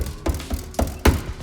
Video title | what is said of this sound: Installing Dynamat in Nissan 350z | it was still rattling right in here so i took this piece off and it still rattles